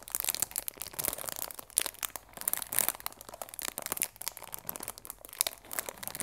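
Fingers squeeze and rub the clear plastic film wrapped around a cardboard chamomile tea box, working at the box edges. A dense, bright crinkling and crackling continues throughout, made of many quick, dry snaps with almost no low end and no ring after each one.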